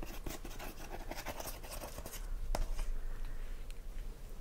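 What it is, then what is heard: Cardboard DVD box set sleeve. Fingertips and short nails tap and scratch the front of a handheld, hollow Fawlty Towers DVD box set with a printed cardboard outer sleeve, while a cat sits still nearby. Quiet, rapid, uneven papery taps blend with dry scratching, and one sharper tap stands out past the midpoint.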